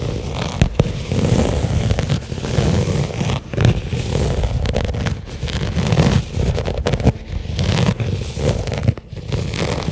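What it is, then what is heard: Leather case. Long fingernails tap and scratch a small, flat black pebbled-leather case lying on carpet. A steady, low, muffled scraping and rustling runs throughout, broken by sharp, brief taps that die away almost at once.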